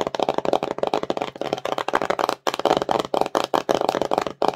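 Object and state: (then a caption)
Empty cardboard box, hollow. Long nails rapidly tap and scratch the surfaces of a small, empty, glossy cardboard slime box, which is hollow. The result is a dense stream of dry, hollow clicks and scrapes, centered in the mids, with almost no ring. The stream stops briefly twice.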